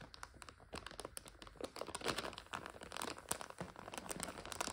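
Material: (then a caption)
Plastic. A full clear plastic bag of dry egg noodles is pressed with both hands and scratched with long nails. The sound is a dense run of crisp crinkling and rustling with sharp bright crackles, and the dry noodles crunch inside.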